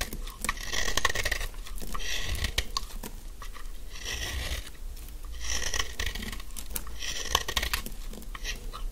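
A thin, carved, solid stick of dry yellow soap is held in the hand and shaved with a utility knife blade. The blade makes repeated crisp, crunchy scraping strokes with a bright hiss, broken by small sharp ticks and clicks. A low rumble runs underneath.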